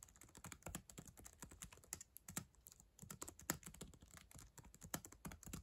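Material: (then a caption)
Plastic. Long acrylic nails type quickly on the plastic keys of a black ThinkPad laptop keyboard. A fast, steady run of sharp, bright clicks and taps rises over a soft low thud, each stroke dying away almost at once.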